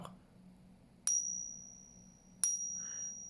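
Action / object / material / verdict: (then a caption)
tap / copper coin / copper / none. A copper coin is tapped twice in a ring test, each tap giving a very high-pitched, bright metallic ring that fades slowly. The high tone marks the coin as copper rather than silver.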